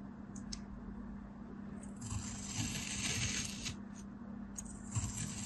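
A black blade cuts a palm-sized, packed beige kinetic sand block into thin ridged slices, scraping through the granular solid. Soft, gritty scrapes with bright, sandy hiss rise and fall over a steady low hum.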